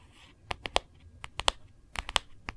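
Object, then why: Hard plastic phone case. Long nails tap and scratch across the back of a phone in a hard plastic printed case, giving ten sharp, bright clicks that stop instantly. Faint scraping between the taps sits over a low background hum.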